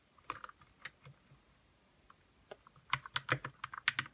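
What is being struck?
Plastic mechanical keyboard with linear switches.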